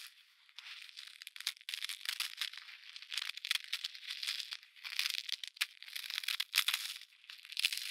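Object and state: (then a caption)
Packed snow being crushed. A solid, fist-sized block of packed snow is held between two padded winter mittens outdoors and squeezed and crushed by hand. It gives dense, bright crunching and crackling in irregular bursts, with almost no low end and each crunch dying away almost instantly. Soft rustling of the glove fabric may also be heard.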